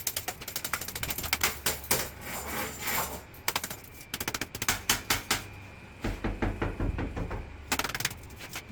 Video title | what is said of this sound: Por que NUNCA confiar no Orçamento de Pedreiro? | é o som cabo, que é o som oco, quer dizer que tá desplacando, não tá devidamente fixado na própria parte do do tijolo